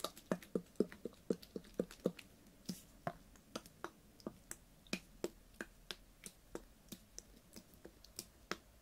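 Fingernails tap a clear ribbed PET water bottle with a blue cap, full of water, in a quiet, uneven rhythm of 38 quick taps. Each tap is a short, dry click with a soft hollow thump and a faint bright tick, dying away almost at once.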